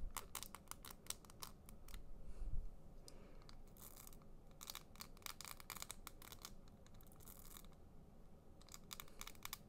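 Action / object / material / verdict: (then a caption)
scrape / pen with crinkly plastic foil barrel / plastic foil / none. A small, hollow handheld pen with a white plastic body and a crinkly, iridescent, diamond-patterned plastic foil barrel is twisted and squeezed between the fingertips. It makes quiet bursts of bright, crisp crinkling in quick clusters with brief pauses, over a faint low rumble.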